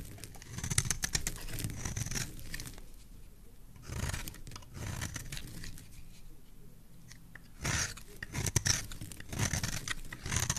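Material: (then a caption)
Soap. A metal knife blade scrapes and carves a solid, palm-sized oval green bar of soap held in the hand, raising shavings on its surface. Dry, crackling scraping comes in bright, crisp bursts with a low, muffled undertone, separated by quieter pauses between strokes.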